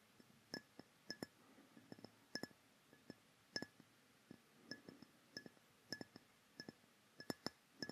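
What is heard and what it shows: A dark rectangular glass perfume bottle with a metal cap, hollow and held in both hands close to a microphone, is tapped with fingertips and nails. An irregular series of quiet, short, bright clinks is heard, each with a faint glassy ring that dies away almost at once, over a soft background hiss.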